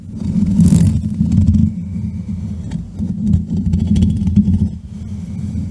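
Fingertips and medium-length nails scratch and tap directly on the rounded, hollow metal mesh grille of a black USB condenser microphone on a stand, using both hands. The result is a dense, low rumbling scrape centered around 90 Hz, with brief ticking taps mixed in and almost nothing in the high end.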